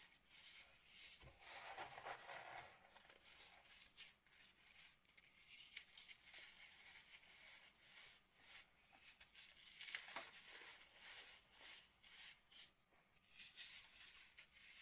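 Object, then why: Sand and cornstarch powder with broken chunks. Fingers dig into pink sand and cornstarch that has been crushed into powder and broken chunks, squeezing clumps and rubbing the crumbly powder by hand. The sound is a steady run of soft, bright crunching and gritty rustling, with irregular crisp crackles standing out.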